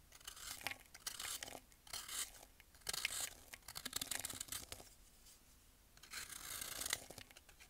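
A metal blade scrapes and shaves the surface of a solid rectangular block of pressed baking soda held in hand over a bowl of powder, and crumbly chalky layers come off. Quiet, bright, dry scraping and crumbling comes in short bursts separated by brief pauses, with almost no low end.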